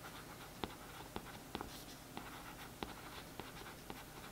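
A thin paintbrush scratches and traces over the printed text on the back of a glossy cardboard paperback book cover lying flat. A quiet, steady papery brushing hiss runs throughout, broken by seven short, sharp taps that stand out from the soft scratching.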